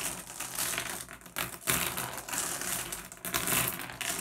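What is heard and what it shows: Fingertips pick at and tap small solid blue glass gem pebbles on a wooden tabletop, making the gems clack together. The result is a steady stream of bright, sharp clicks and rattles with quick decay and little low end.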